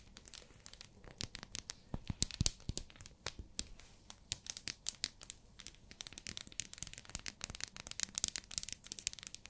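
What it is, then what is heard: Plastic-wrapped soap bar. Long nails tap and scratch a small, solid pink glycerin soap bar still in its plastic wrapper. The result is a dense run of quick, bright crinkly clicks and scratchy rustles that die away almost instantly, with some taps louder than others.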